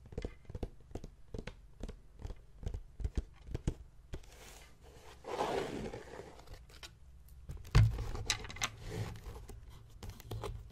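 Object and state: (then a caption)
Leather journal cover. Fingertips tap and scratch the front cover of a closed blue embossed leather journal, finishing near its leather strap clasp. A run of quick, dull, low taps gives way to a soft, breathy scratching across the leather, then a louder thump and a mix of lighter taps and scrapes. The sound stays muffled and close, with a steady low hum underneath.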